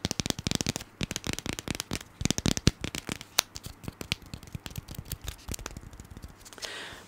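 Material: Cardboard.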